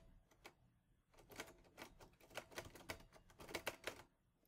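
Fingertips type steadily on the keys of a teal metal portable Olivetti Lettera 22 typewriter, giving sharp, bright mechanical clacks that come in quick, uneven bursts after a brief lull. Each clack is short and dry, with a faint metallic tone underneath.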